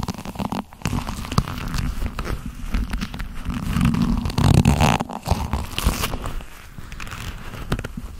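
Hands squeeze and rub the fingers and cuff of long black leather gloves, producing a steady run of muffled, low-heavy creaks, rubs and soft crackles. The friction swells and fades in irregular waves for the whole clip, with a brief dip near the start and a louder stretch around the middle.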